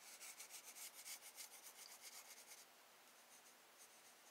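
A wooden graphite pencil held in the hand shades the sky on a spiral sketchbook page of drawing paper resting on a desk, making repeated rubbing and scratching strokes. The quiet, bright, papery scratches come in a quick, fairly steady rhythm for about two and a half seconds, then turn softer and fainter toward the end.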